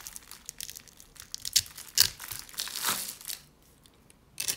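A flat metal blade held in fingers with long black nails scrapes and carves across the face of a hand-sized, solid bar of dry, pale yellow soap pre-scored in a grid, flaking off small soap cubes. The sound is dry, bright, crunchy crinkling in irregular bursts, with sharper snaps near the middle and a longer rasping scrape. It is followed by a near-silent pause and one last crunchy burst.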